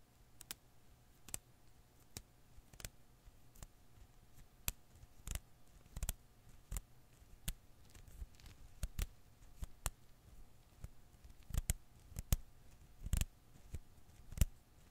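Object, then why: Rubber Koosh ball. A blue and green Koosh ball of thin rubber filaments is held in one palm while the other hand's fingertips pinch and pluck its strands. About two dozen short, dry snapping clicks ring out quickly and die almost instantly. They sit over a quiet low rumble and a faint steady tone, with some later plucks louder.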